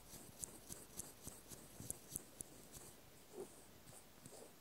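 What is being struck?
Small metal washer.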